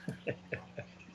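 A drink can, likely a Red Bull can, is tapped four times in quick succession, followed by a fainter fifth tap. Each tap is a short, dull knock with almost no ring, over a steady low hum. The hollow sound shows the can is empty.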